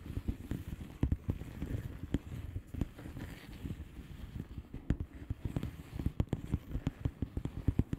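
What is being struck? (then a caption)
Plastic bubble wrap envelope. Long painted nails on both hands tap quickly on a flat blue plastic bubble-wrap envelope filled with air bubbles. The taps are soft, dull and low, with very short decay, and they blend into a continuous, crackly patter under occasional sharper clicks.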